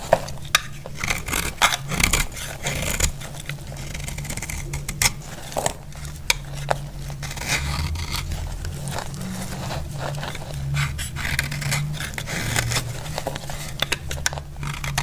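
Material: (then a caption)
Soap. A solid, dry purple bar of soap held in the palm is scraped and cut with a utility-knife blade. Continuous crisp, gritty scraping is broken by sharp, bright clicks and snaps as pieces break away, over a steady low hum.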